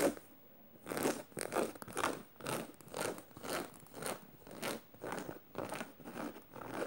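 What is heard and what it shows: Fingernails on clawed fingers scratch across a black canvas tote bag studded with metal studs. A steady series of dry, rasping scratch strokes, roughly one per second, each a short burst of bright, broadband scraping with little low end.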